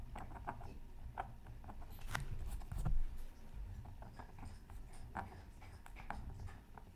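A bamboo stylus makes short scratching strokes on a flat, black-coated scratch art card lying beside a sheet of tracing paper. Quick, dry, papery scrapes and ticks sound over a steady low rumble, swelling louder around the middle before settling back to soft, uneven scratching.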